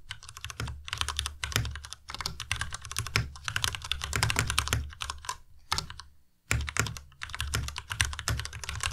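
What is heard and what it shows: A white tenkeyless Ducky Miya Pro mechanical keyboard with Cherry MX Red switches, plastic keycaps and RGB backlight is typed on rapidly with the fingertips of both hands. Dense bursts of sharp, bright key clacks ride over a deep low thock, with a brief pause near six seconds before the fast typing resumes.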